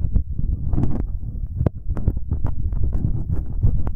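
Fingertips in rubber finger cots rub and tap directly on metal binaural microphone capsules, first on both sides and then on the right capsule alone. The result is a dense, booming low rumble of rubbing, broken by quick dull thumps and short bright clicks.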